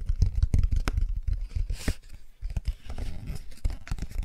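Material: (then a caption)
Cardboard. Long nails and fingertips of both hands scratch and tap the raised textured shapes on the bicycle and car pages of an open cardboard board book. Irregular, dull low taps mix with rough scratching, with a brief bright scrape near the middle. The sound is dry and close, with almost no ring after each tap.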